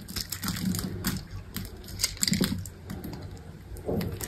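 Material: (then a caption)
Soap. A small knife slices cubes off a solid, dry green bar of soap, and the cubes crumble away. The clip is full of short, dry crisp crackles and scrapes with bright, brief clicks and a low rustling underneath. The crunching comes in irregular bursts, with louder clusters near the middle and the end.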